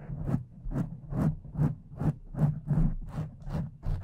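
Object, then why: Foam microphone windscreen. Long decorated fake nails on both hands slowly scratch a pink foam windscreen over a condenser microphone. About ten soft, muffled scratching strokes come at a steady, unhurried pace, each a low rumbling swell with a brief airy brush on top.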